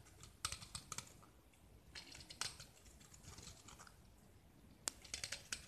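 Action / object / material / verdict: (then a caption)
scrape / gypsum block / gypsum / none. A metal utility knife blade scrapes a small, solid white gypsum block with a purple painted surface, held in the hand, peeling off curls of plaster. The quiet clip is made of short, bright, crisp scratching clicks and brief scrapes at irregular intervals, with little low end and almost no ring after each stroke.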